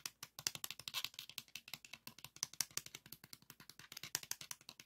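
Fingernails scratch and tap the textured plastic and edges of a pink 3.5-inch floppy disk, a hard plastic shell with a metal hub, held in the hands. About 38 quick, dry clicks and scratches come in a rapid, uneven run. They are soft, bright and high, with almost no low end and no ring.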